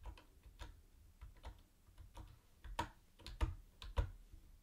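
Fingertips type on a mint-green plastic typewriter-style keyboard with round white plastic keycaps and a hollow body. It gives short, dry clicks at an uneven pace, with a few louder, deeper clacks near the end. The hits are quiet and die away almost at once.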